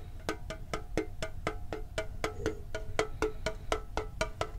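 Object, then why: Small printed metal tin. Fingertips tap on the side and lid of a hand-sized, printed, hollow metal Pokemon card tin held close to the microphone. Quick, even taps of about two per second each give a short, dry tonk with a brief metallic ring over a low rumbling background.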